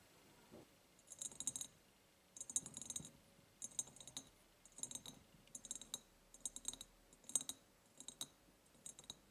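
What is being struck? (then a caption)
Ribbed glass jar. Long painted nails tap on the sides of an empty, medium-sized, ribbed clear glass jar. They make repeated short bursts of quick, bright, clicky taps with a faint glassy tick and almost no ring. Quiet pauses separate the bursts, and there is little low end.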